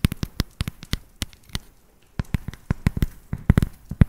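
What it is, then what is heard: Dark chocolate bar tapped with nails. Long nails tap the flat back of a solid dark chocolate bar held upright, giving 22 quick, dry, low-heavy clicks with no ring. The taps come in irregular bursts, with a brief pause near the middle before they pick up again.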